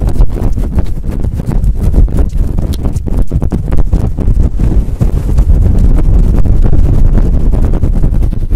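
Long acrylic nails scratch quickly and roughly over a fluffy faux fur windscreen on a microphone. The result is a loud, continuous, boomy rustle made of rapid overlapping scrapes. It is heavy in low rumble and has almost no bright top.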